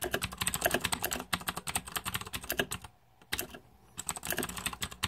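Fingertips type rapidly on the plastic keycaps of a green-backlit Razer 2014 Deathadder mechanical keyboard, producing a dense run of short, bright clacks with little low end. The typing breaks off into near silence for about a second before resuming.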